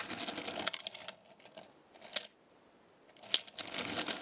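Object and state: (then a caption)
Small magnetic metal stars. A chain of small metal stars is lifted from a black magnetic star base with fingers and nails and dropped back onto it. Light, bright metallic clinks and rattles come in dense bursts at the start and end, with a few sharper clinks and a near-silent pause between them.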